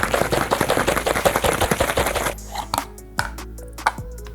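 A boiled egg in its shell is shaken inside a closed container with cold water, making a fast, irregular rattle of knocks and sloshing for about two seconds. The shaking stops, leaving a quiet stretch broken by three separate knocks. The eggshell ends up cracked.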